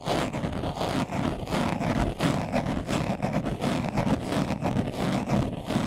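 A brown leather-covered glasses case, hand-sized, hollow and closed, is held in both hands while its surface is scratched fast with short nails and fingertips. The result is a dense, continuous scratchy rustle with a hollow, low body and quick uneven pulses that never fully stop.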